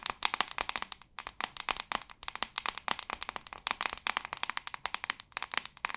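Long acrylic nails tap quickly on the back of a hand-sized white plastic paddle hairbrush. Dozens of short, dry clicks come in uneven bursts with brief pauses. Each tap is sharp and bright with almost no low end and dies away at once.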